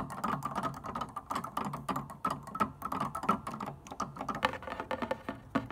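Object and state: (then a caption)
Plastic piano keytops tapped with fingernails. Long dark-painted nails and fingertips tap and scratch across the white plastic keytops and black sharps of an upright wooden piano's keyboard without playing any notes. The result is a rapid, irregular stream of quiet, dry clicks and scrapes that die away almost instantly, with a faint tonal band around 900 Hz to 1 kHz.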